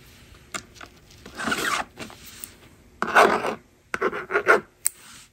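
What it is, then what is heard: Plastic magnetic drawing board being scratched. A yellow plastic stylus scratches across the honeycomb screen of a small, hollow blue and pink plastic magnetic drawing board resting on a table, writing a number. Dry, raspy rubbing strokes come in short bursts, broken by a few sharp, bright ticks as the tip taps and lifts from the plastic.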